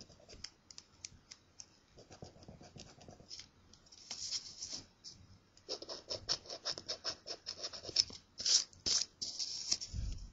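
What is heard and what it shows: A thin, flat paper scratch-off lottery ticket is held by the fingertips of one hand while the other hand scratches its coating with a coin. The result is a run of quick, dry, high-pitched scraping strokes, loose in rhythm and building louder and denser toward the end.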